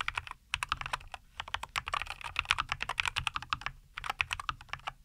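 Both hands type continuously with their fingertips on a NuPhy Air75 V2, a compact 75% mechanical keyboard with a white case, green and white plastic keycaps and linear Cowberry switches, resting on a wooden desk. About 34 short, bright plastic clacks come in quick bursts, with a couple of brief pauses. Each keystroke dies away almost instantly and has very little low end.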